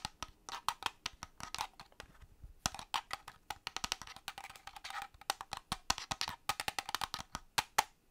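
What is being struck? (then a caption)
Plastic game controller shell. A hollow black plastic Xbox-style gamepad is turned in the hand while fingernails tap its plastic shell and grips. The result is a run of quick, dry, bright clicks with almost no ring, some in fast bursts and some spaced out, with very little low end.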